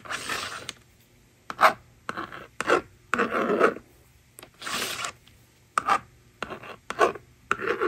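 A yellow plastic stylus scratches numbers onto the honeycomb screen of a plastic magnetic drawing board resting on a table. Short bursts of dry, raspy scraping, some long sweeps and some quick strokes, are separated by brief silences. The rasp is centered around 1 kHz with a bright hiss on top and almost no low end.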